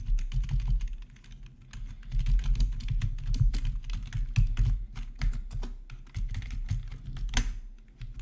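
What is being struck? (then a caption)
Plastic membrane keyboard. Fingertips of both hands type steadily on a full-size black plastic membrane gaming keyboard with RGB backlight and a hollow housing, resting on a marble surface. The result is a continuous run of soft, quick-decaying taps with a deep, hollow low thump under faint bright clicks, and one sharper clack near the end.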